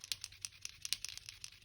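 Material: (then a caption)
Plastic. A new Archer & Olive Acrylograph acrylic paint pen is shaken to activate it, and the small ball bearing inside rattles to mix the ink. About eleven quick, bright, dry clicks sound with almost no low end. The rattle is normal for a working pen.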